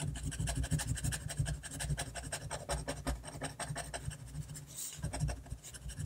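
A fine-tip technical pen scratches quick hatching strokes across a flat sheet of drawing paper held down by the other hand. The result is a rapid run of dry, bright, rasping strokes over a steady low hum.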